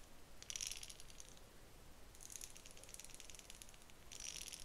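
A pale pink plastic wide-tooth comb held horizontally, with long nails scratching and flicking across its teeth. This produces bright, rapid rattling bursts in three clusters, around 0.5–1.4 s, 2.2–3.6 s and 4.1–4.7 s. Between the bursts there is a quiet low background.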